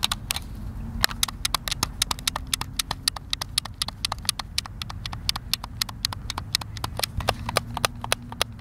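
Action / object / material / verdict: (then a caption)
tap / plastic game controller / plastic / none. Fingertips tap the buttons of a hand-sized, hollow white plastic Xbox controller. Rapid, sharp, bright clicks follow one another for nearly nine seconds over a quiet low background. Each click cuts off almost instantly.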